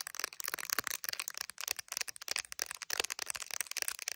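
Long acrylic nails tap and scratch the glass camera lenses and clear hard plastic case, decorated with resin gummy bear charms, of an iPhone that is recording while held up to a mirror. Quick, bright, dry clicks and scratchy rasps come in a dense, uneven stream, each cutting off at once with no ring and almost no low end.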